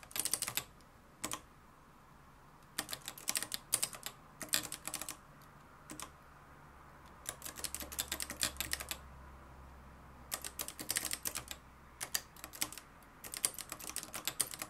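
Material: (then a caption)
Plastic, metal. Fingertips type on the dark plastic keys of a mustard-yellow, plastic-cased manual typewriter with a metal mechanism. Bright, sharp clacks come in quick bursts separated by short pauses, each dying away almost instantly, over a faint low hum.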